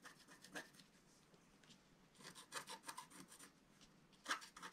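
A wooden stylus scratches the owl's body into a flat, black-coated scratch-art paper sheet. Quiet, dry, raspy strokes come in irregular bursts with short pauses between them, their bright hiss rising well above a faint low end. One sharper scratch near the end stands out.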